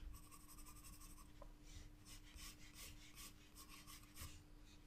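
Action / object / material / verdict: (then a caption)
scrape / graphite pencil on drawing paper / paper / none. A graphite pencil held in the fingers scratches across a white drawing-paper page of a spiral-bound sketchbook lying flat on a table, making short shading and line strokes. The quiet, bright scratching and rasping comes in repeated bursts over a steady low hum.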